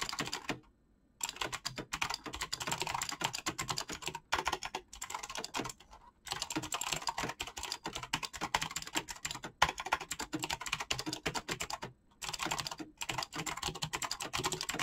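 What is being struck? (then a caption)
Mechanical keyboard with PBT plastic keycaps. Fast fingertip typing on a black mechanical keyboard with clicky switches and PBT plastic keycaps makes a dense run of sharp, bright clicks with little low end. Each click dies away almost at once. The typing stops briefly a few times before picking up again.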